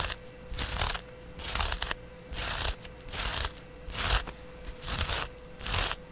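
A flat, palm-sized, porous yellow cellulose sponge is held in the hand and scratched along its surface with a double-edge razor blade. Seven bright, crunchy, raspy scratching strokes come in a steady rhythm, separated by short pauses with a faint steady hum underneath.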